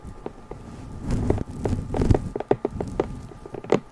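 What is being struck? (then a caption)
Cardboard gift box. A small, hollow, lidded pink cardboard gift box with a ribbon stripe is held in both hands and tapped with long nails and fingertips. Quick, dull, hollow taps and light clicks come in an uneven run, mixed with short rustling swells of the cardboard. Each tap dies away almost at once, leaving a quiet, low background.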